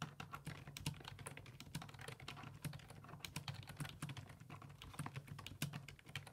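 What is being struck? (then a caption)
Plastic computer keyboard. Fingertips type steadily on the hollow plastic keys of a black plastic full-size computer keyboard resting on a wooden desk. The keystrokes are rapid, repeated taps, each a short, sharp click with a bright edge and almost no ring. A low, steady hum sits underneath throughout.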